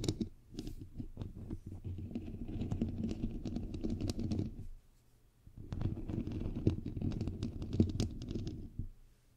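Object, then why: Metal mesh microphone grille. Long pink nails scratch and tap on the hollow white perforated metal mesh grille of a bare microphone head, making a dense, close, low, rumbling scrape with quick clicky taps. The sound comes in two bursts with a short quiet gap in the middle.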